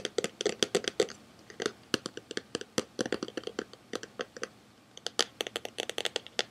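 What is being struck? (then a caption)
Plastic DVD case. A hand-sized hollow plastic DVD case with a printed cover is held up in both hands and tapped and scratched with fingertips and nails. The result is a rapid, uneven run of sharp, bright clicking taps with a hollow plastic tone, each dying away almost instantly, with short scratchy passages in between.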